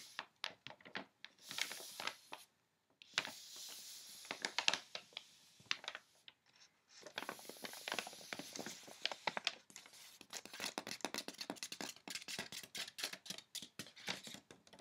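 A flat palm and fingertips with medium nails rub and scratch across a large sheet of crinkled white wrapping tissue paper laid over clothing. Bright, dry crinkling and rapid scratchy ticks come in busy bursts separated by brief pauses, with almost no low end.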